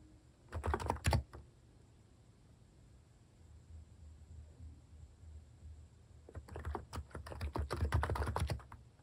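Fingertips type on a compact Hanmumu capacitive (non-contact) keyboard fitted with plastic cat keycaps. A short burst of soft, deep clacking keystrokes is followed by a quiet pause, then a longer, denser run of steady typing. The keystrokes are muted and low, with a faint bright click on top.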